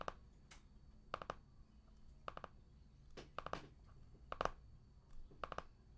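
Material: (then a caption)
Cardboard, plastic. Fingertips tap and scratch the plastic shrink wrap sealing a medium, solid hardcover art book with a cardboard cover, lying flat on a table. Quiet, crisp, dry clicks come in small quick clusters of two or three, centered in the midrange, with brief brighter scratchy rustles between them. A faint low hum sits underneath.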